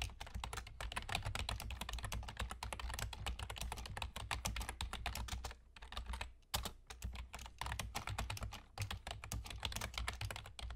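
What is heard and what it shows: Fingertips with short nails from both hands rapidly type on a full-size black plastic computer keyboard with German key labels and hollow keys. The result is a dense stream of quick, dry clicks with brief pauses around the middle, over a steady low hum.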